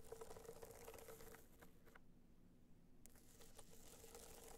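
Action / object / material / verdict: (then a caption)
scrape / hard-shell box clutch with a metallic dotted cover / metallic shell / none. Long nails tap and scratch a small, rigid, hollow box clutch held upright, its gold metallic hard shell covered in raised dots. The sound is a quiet, dry, crinkly patter of scratches and taps with a faint hollow ring near 450 Hz. The activity thins out to near silence for about a second in the middle, then resumes.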